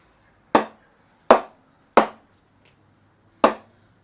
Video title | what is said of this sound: 2007-08 Gray-Nicolls Fusion 1000 - BANNED CARBON HANDLE! | unique sound which I haven't heard for 10 years or so